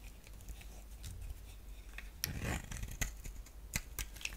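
A hand-sized solid purple bar of soap, held in the hand, is scraped and cut with a utility blade while long-nailed fingertips touch its surface. Soft, papery scraping runs throughout, broken by sharp, bright crunching clicks and short rasps as the blade bites in. A quiet low rumble sits underneath.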